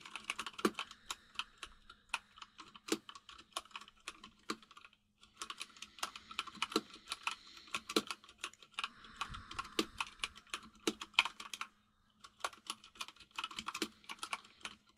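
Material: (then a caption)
Plastic. Fingertips of both hands type on a full-size mechanical keyboard with white and grey plastic keycaps, set on a table by candles. Quick, bright plastic clicks come in steady bursts, with brief pauses near five and twelve seconds. A faint low hum sits underneath throughout.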